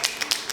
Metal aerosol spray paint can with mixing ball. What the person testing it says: You can hear that ball rattling.